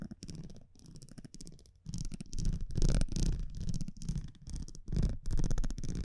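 A thin, flat cardboard baseball trading card is held in the left hand while metal tweezers or a similar thin metal tool scratch and tap across its printed surface. Quick, irregular bursts of dry scratching and tapping start soft for the first couple of seconds, then grow louder and denser, with a low, muffled body under a faint crisp edge.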